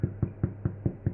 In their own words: Loaf is out of the oven. Nice and crisp on the outside, nice and hollow sounding when you tap it on the bottom.